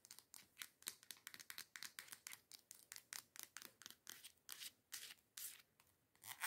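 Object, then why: Plastic scrub bottle. Long nails scratch and tap near the cap of a teal plastic body scrub bottle lying on its side. About 28 quick, dry strokes and taps come in a rapid, uneven series. Each is a bright, hissy scrape with almost no low end that stops dead without ringing.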